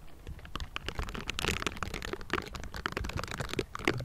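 Both hands in pink silicone bristle gloves rapidly tap and scratch the hollow metal mesh grille of a Blue Yeti microphone. The result is a dense, continuous stream of crackly taps and bristly scratches with soft low thumps beneath, heard very close and dry with no ringing.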